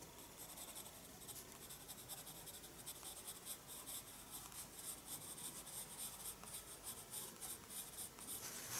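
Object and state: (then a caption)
Pencil drawing in a paper sketchbook. A graphite pencil draws slow strokes on a page of a small spiral-bound paper sketchbook resting on a wooden desk. It makes a light, continuous, bright scratching with short vertical bursts that grows slightly louder toward the end.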